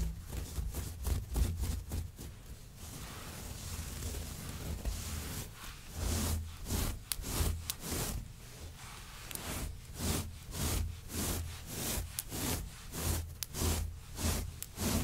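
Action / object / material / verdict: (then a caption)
scrape / synthetic long-pile faux fur rug / synthetic fur / none. Both hands scratch the pile of a grey long-pile synthetic faux fur rug with long nails and fingertips. The result is soft, bright, raspy scratching strokes over a low, dull rumble. After a steadier rubbing stretch, the strokes settle into a loose rhythm of roughly two per second.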